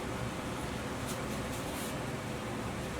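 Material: Nothing is struck.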